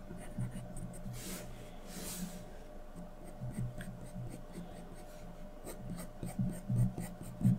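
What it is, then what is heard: Graphite pencil shading on drawing paper. A wooden graphite pencil, held by the fingertips, scratches short shading strokes near a portrait's face on a flat sheet of white drawing paper. Soft, low scratchy rubbing comes in irregular bursts, with two brighter sweeping strokes early on and a faint steady hum underneath. The strokes grow a little louder and more clustered toward the end.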